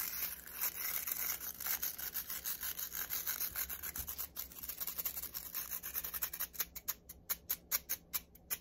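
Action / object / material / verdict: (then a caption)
scrape / plastic round hairbrush with nylon bristles / nylon / none. Fingertips and nails scratch and flick fast across the dense nylon bristles of a black plastic round hairbrush held upright. A quiet, bright, hissy rasping runs almost continuously at first, then breaks into a quick series of separate crisp flicks toward the end.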